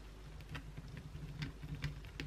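Long, pointed blue acrylic nails on both hands scratch the flat face of a solid white oval bar of soap. Short, bright, crisp scratching ticks repeat over a steady low hum.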